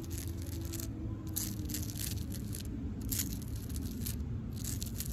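Long pink acrylic nails scratch the furrowed bark of a solid tree trunk, making bright, crackly scraping strokes that come in clustered bursts. Beneath the scratching runs a steady low rumble that holds a constant level throughout.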